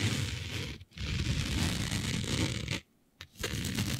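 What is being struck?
Smooth synthetic fabric.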